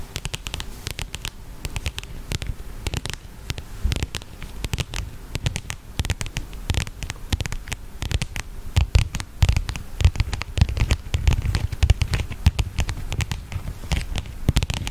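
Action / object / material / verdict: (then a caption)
tap / leather wallet / leather / none. Long painted fingernails tap and scratch the surface of a flat, slim, closed black leather wallet or case that looks empty, held up close to the microphone. Rapid, dense patter of short, dull, low-heavy taps with bright clicky edges and soft scratching runs throughout. It grows a little louder and busier from about the nine-second mark.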